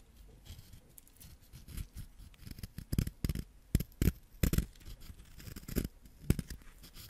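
A small, solid yellow wax crayon held in the fingertips is scraped with a white ceramic knife, and yellow wax crumbs fall onto the fingers. Short, dry scratching strokes come in irregular bursts with low, muffled body and faint bright edges. Several sharper scrapes stand out near the middle and end.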